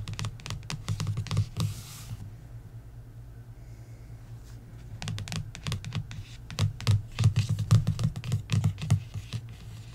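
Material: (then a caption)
Paper. A long fingernail traces across the cover of a paperback coloring book, then fingertips tap on it. Quick, irregular, soft taps with dull low thuds and brief bright clicks come in clusters, with a short scratchy rasp and a quieter stretch in between.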